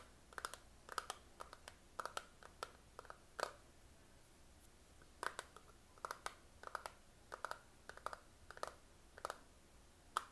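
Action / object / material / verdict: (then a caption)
tap / small hollow plastic eyeshadow palette tapped with fingernails / plastic / none. A fingernail taps and clicks on the lid and edges of a closed, small hollow plastic eyeshadow palette with a clear patterned plastic lid. About thirty short, dry clicks centred near 1.3 kHz come in quick clusters, with a brief pause in the middle. Each click dies away almost at once over a quiet background.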